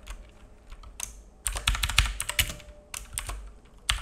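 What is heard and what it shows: A black full-size mechanical keyboard with plastic keycaps and a hollow case, resting on a wooden desk, is typed on with the fingertips of both hands. Irregular bursts of bright, clacky key taps, each with a low, hollow thock underneath, come in quick clusters, with quieter stretches between them.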